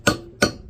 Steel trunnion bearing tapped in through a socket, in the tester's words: When you hear that dead, it's dead.